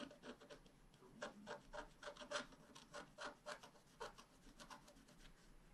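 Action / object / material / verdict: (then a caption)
scrape / black-coated scratch-art card scratched with a wooden stylus / coated paper / none. A wooden stylus scratches the coating at the bottom of a flat, black-coated scratch-art card held down by one hand. It makes a quick, irregular series of short, dry scraping strokes with bright, hissy texture and little low end. Each stroke stops almost at once.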